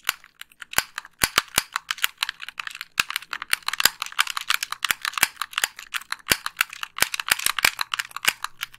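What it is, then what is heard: Plastic game controller. Long pink nails rapidly click the buttons and tap the face of a hollow white plastic Xbox 360 gamepad. The result is a quick, uneven stream of sharp, dry plastic clicks and taps that die away almost instantly. The sound is bright and crisp with almost no low end.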